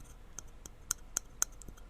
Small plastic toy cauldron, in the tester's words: it's actually a hollow cauldron you can maybe hear it a little